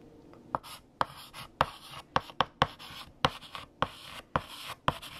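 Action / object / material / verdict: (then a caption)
scrape / chalk on a chalkboard / chalk / none. A hand writes with orange chalk on a large, flat black chalkboard. A dozen sharp, bright taps of chalk striking the surface are separated by softer, hissing scratches as the chalk drags across the board.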